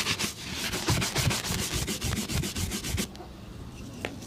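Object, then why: Leather boot and bristle brush. A stiff bristle shoe brush is stroked quickly back and forth over a brown leather boot, making rapid, bright scratchy swishes with a soft low rub under each stroke. After about three seconds the brushing stops, leaving a quiet hush with one faint tap near the end.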